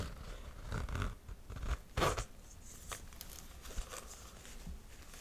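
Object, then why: Faux-suede ankle boot with metal zipper. A medium-size beige faux-suede ankle boot with laser-cut perforations and a metal side zipper, hollow and empty, is held up while long nails scratch the suede and handle the zipper area. Soft, dry scratching and rustling rise and fall, with a brighter, louder scrape around the two-second mark and a few short crisp clicks from the zipper.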